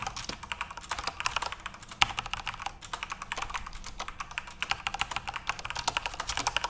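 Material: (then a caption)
Plastic. Fingertips type steadily on a full-size RGB-backlit Corsair mechanical keyboard with plastic keycaps. A dense, continuous run of sharp, bright clacks sounds with almost no ring, each keystroke dying away immediately. The clicking carries very little low end.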